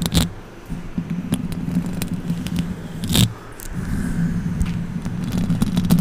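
Long orange acrylic nails scratch the hollow metal mesh grille of a silver condenser microphone. Close, crackly scraping and sharp clicking taps sit over a steady low, droning hum, with louder bursts near the start and around the middle before the scratching thickens again toward the end.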